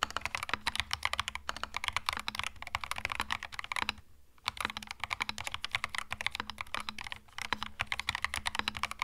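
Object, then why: Mechanical keyboard with plastic keycaps. Fingertips type on a compact cream mechanical keyboard with plastic keycaps, producing a rapid stream of crisp, bright clicky keystrokes. The typing pauses briefly near the middle, then resumes at the same brisk pace, with a faint steady low hum underneath.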